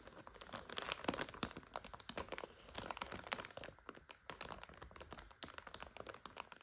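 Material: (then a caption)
Plastic. A full 400 g clear plastic bag of dry egg noodles is tapped and scratched by long nails while fingers squeeze it. It gives a dense stream of sharp crinkles, crackles and clicks. The brief, bright transients rise and fall across the clip with almost no low rumble.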